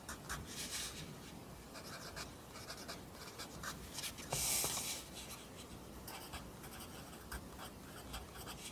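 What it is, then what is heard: Pencil writing on a paper notebook. A pencil writes Korean handwriting along the top line of a lined paper notebook held flat by the other hand. The graphite scratches the paper in quick, uneven bright strokes, with one louder, longer scratch partway through.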